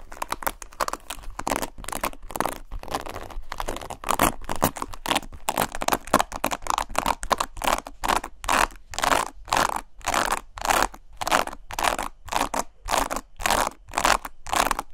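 Long nails brush and scratch the plastic bristles of a black paddle hairbrush held close to the mic. Quick, uneven bursts of dry, bright scraping and crackling repeat at a fast, irregular pace, each stroke cut off sharply with no ring.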